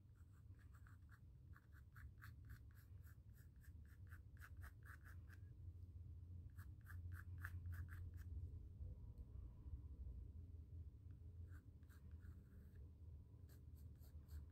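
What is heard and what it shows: A pencil sketches continuous lines on a small square white stretched cotton canvas panel, making steady scratching strokes. Bursts of quick, bright scratches come in clusters, broken by short pauses, over a constant low rumble.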